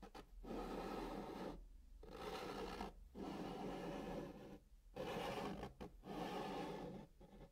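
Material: Cardboard.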